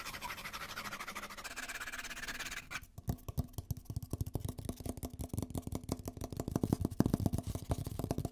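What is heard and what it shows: A white, hollow paper coffee cup with a plastic lid is turned in the hands while fingertips scratch the cup wall and tap the lid. A dense, bright scratching rasp fills the first few seconds, then gives way to a fast run of dozens of short, hollow taps with a low tone that grow louder toward the end.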